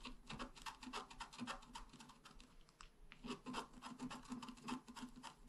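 A pointed wooden stylus scratches fast and continuously across a flat, black-coated scratch art card about A4 in size. It makes quiet, dry rasping strokes at roughly three to four per second, with a bright, scratchy texture centered near 1 kHz and a low body around 200 Hz. The strokes ease into a brief near-pause around the three-second mark before the rapid scratching resumes.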